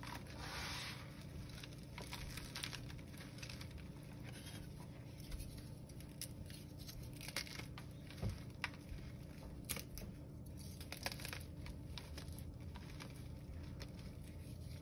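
Bare hands squeeze and crush a loose pile of blue gym chalk chunks and powder, with fingertips snapping the edge of a chalk slab. The sound is a quiet, steady run of dry crumbling and crackling over a low rumble, with sharp bright snaps scattered throughout.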